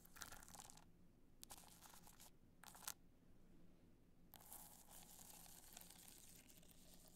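Long nails scratch the studded surface of a black multicolor rhinestone hard-shell clutch as it is held at different angles. Bursts of bright, crackly scratching alternate with short quiet gaps over a faint low hum, with a longer, steadier stretch of scratching at the end.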